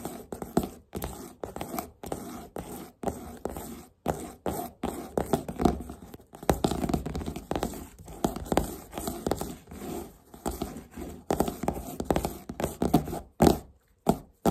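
A large, thick red hardcover book of solid paper with a glossy cardboard cover lies flat on a table while both hands tap and scratch the cover quickly with fingertips and short nails. The result is a dense, continuous stream of short, dull, muffled taps and soft scratches in the low-mid range, each dying away almost instantly with very little high-frequency brightness.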